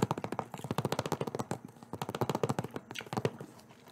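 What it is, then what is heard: Plastic game case. Fingertips and nails tap quickly on a green-edged, hollow, thin-walled plastic Xbox DVD-style game case held in one hand in front of the microphone. About 22 sharp, dry plastic clicks come in rapid, uneven bursts, each dying away almost at once with no ring.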